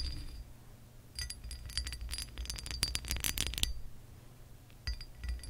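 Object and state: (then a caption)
Textured glass lamp base, nail taps. Nail tips from curled fingers tap the ridged surface of a pressed glass lamp base. Bright, clinky glass ticks come in an irregular flurry, then a pause, then a few more taps, each with a short, high ring. A low hum runs underneath throughout.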